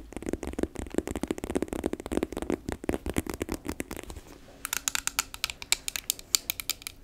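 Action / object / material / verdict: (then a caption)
tap / faux leather handbag with plastic dial buttons / faux leather / none. Long nails tap and scratch a hollow, medium pink rotary-telephone-shaped handbag made of glossy faux leather with plastic dial buttons. For about four seconds a dense flurry of quick, dull taps and scratches carries a soft low-mid body. After a brief lull, sharper, bright, clicky taps ring out dry with almost no decay.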